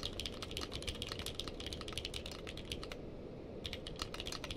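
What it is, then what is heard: Mechanical keyboard with plastic keycaps. Fingertips of both hands type continuously on a navy/purple-case mechanical keyboard with plastic keycaps. The result is a steady stream of bright, crisp key clicks over a low, muffled thud, with a brief lull just past the three-second mark before the typing resumes.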